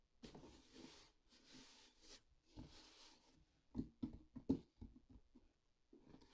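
Long black-painted nails and fingertips of both hands scratch and tap the top of a closed, hollow, medium white corrugated cardboard mailer box with a yellow shipping label. Soft, airy scratching strokes come first, then a run of quick, irregular hollow taps with a low, boxy thump and very short ring.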